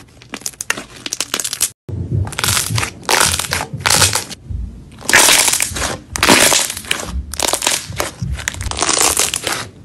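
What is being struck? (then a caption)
White slime. A large, soft but solid white slime is folded and squeezed by both hands on a marble-pattern surface, trapping air pockets that pop. Dense bursts of bright, crackling pops and squelches repeat throughout, with a brief pause near the two-second mark.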